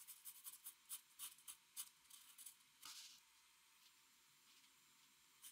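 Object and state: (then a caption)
Pencil on drawing paper. A metal mechanical pencil held in the fingers scratches and shades across a large sheet of white drawing paper lying flat on a desk, while a fingertip of the other hand rests on the paper. Quiet, bright, scratchy strokes tick in quick succession, then a longer hissing rub sweeps across the sheet. Faint light scratching follows, ending with one last short stroke.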